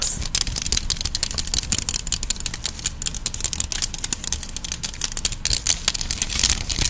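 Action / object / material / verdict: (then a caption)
tap / plastic claw hair clip / plastic / none. A medium-sized cream plastic claw hair clip with open, hollow teeth is held close and tapped and clicked with fingertips and long nails. The result is a rapid, continuous run of short, sharp, bright clicks and taps with almost no ring, over a faint low rumble.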